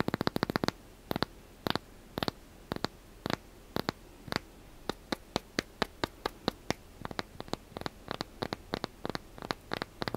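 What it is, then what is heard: Wooden block. Fingernails scratch a small, solid, light wooden block held in one hand, making a dry sanding, rubbing sound. It comes as a fast flurry of short strokes at first, then quick bursts separated by brief pauses, each dying out at once with no ring.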